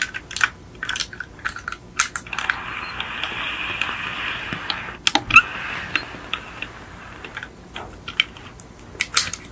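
Long nails tap and scratch the roof and rear of a small yellow die-cast VW Beetle model car, with a hollow metal body and plastic windows, resting on a white fluffy mat. Quick, dry, bright clicks come in scattered bursts, broken by a steadier scratching rasp in the middle of the clip before the sharp tapping returns.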